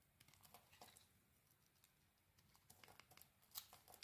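A small metal blade shaves and scrapes curls off a hand-sized, solid grey soap bar with a cream-white core, held in one hand. Soft, bright, crinkly scraping bursts come at an irregular pace over a quiet, low background hiss, with a sharper, louder scrape near the end.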